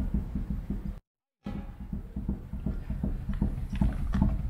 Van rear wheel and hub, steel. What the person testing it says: on secoue et là, tu entends ? là c'est pas bon